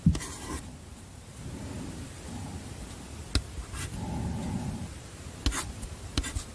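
White chalk scratches across a small handheld slate-style chalkboard with a light wooden frame as Korean letters are written on it. The board is held in one hand. Soft, low scratchy writing strokes alternate with a few sharp clicks of chalk against the board.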